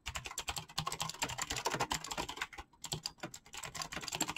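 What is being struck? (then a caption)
Mechanical keyboard with clicky switches and PBT plastic keycaps. Fingertips of both hands type fast, continuous key presses on a backlit mechanical keyboard with clicky green switches and pastel PBT plastic keycaps. A dense run of sharp, bright clicks with a short pause near the middle, each press dying away almost instantly.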